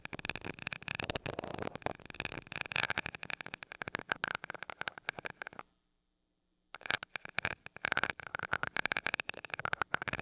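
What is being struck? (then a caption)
Metal mesh microphone grille rubbed and tapped with a glass rod. A glass rod taps and rubs the small gold metal mesh grille of a mini microphone, making rapid, scratchy clicks and crackles with a ringing, bright metallic tone around 1.4 to 2.5 kHz. The tapping runs dense and steady, breaks off into about a second of silence just before the seven-second mark, then resumes just as busily until the end.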